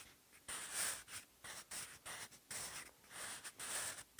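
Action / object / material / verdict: scrape / graphite pencil on textured notebook paper / paper / none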